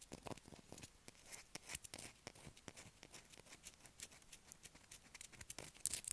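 A solid blue bar of soap held in a hand is scratched with long acrylic nails, shaving off flakes. It makes a quiet, rapid run of dry, crisp scrapes and ticks that are bright and high with little low end, each cutting off almost at once.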